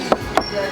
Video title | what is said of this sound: Brezza LXI Base to Top Modified ✅Brezza Vxi Modification ✅2024 Brezza New Model | अगर आप ठक ठक करोगे तो एकदम पूरी भरत वाली आवाज आती है